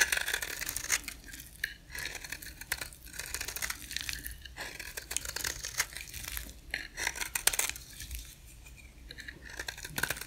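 A rectangular, solid, dry white bar of soap is held in one hand and shaved with a box-cutter blade, scraping off flakes. A steady run of dry, crisp scraping and cutting strokes is heard, bright and rasping with little low end, each stroke brief with almost no ring.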